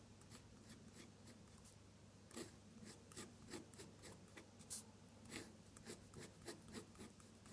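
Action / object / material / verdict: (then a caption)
scrape / drawing paper and metal pen nib / paper / none. A metal dip-pen nib scratches across a sheet of drawing paper, staying in contact as it draws small red petal shapes. Short, bright, raspy scratching strokes come in an uneven rhythm over a faint, steady low hum, and the pen remains quiet between them.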